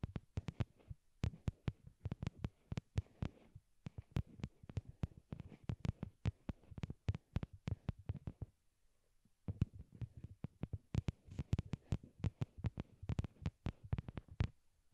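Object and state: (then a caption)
Plastic earbuds tapped with fingernails. Long glittery nails tap on a pair of small white hollow plastic wired Apple earbuds, used as the microphones and resting on a cork board. The taps are rapid and irregular, with brief gaps near the start and a longer pause around 8.5 to 9.5 seconds. Each tap is a dull, low, heartbeat-like thump with a faint bright click and almost no ring.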